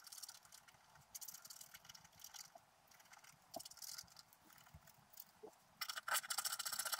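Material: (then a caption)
Coated paper. A wooden stylus scratches the gold area of a flat, black-coated scratch-art paper sheet lying on a table, using repeated strokes. The result is a series of quiet, bright, papery scratching bursts at an uneven pace, growing louder and denser toward the end.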